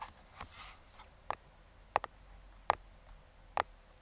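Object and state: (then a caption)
Cardboard box tapped with metal fingertip picks. Metal claw fingertip picks tap and scratch the top of a small, closed brown kraft cardboard box. Soft scratching at the start gives way to six short, dry, hollow taps, spaced unevenly and centered around 820 Hz. Each tap has a faint bright edge and dies away almost instantly, with little low end.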